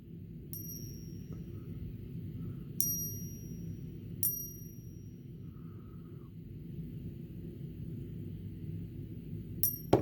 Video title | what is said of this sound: Around the World with Eva: Swiss Miss | if you ever want to know if your silver's real, this is a great way